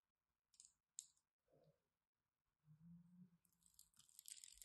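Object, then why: Striped bar soap. A craft knife scores a grid into a solid green and white striped bar of soap and carves it, giving two short, bright, crisp crunches and then a softer, muffled scrape. This is followed by a longer, low grinding cut that turns into a sustained, bright, crackling scrape as the blade slices through.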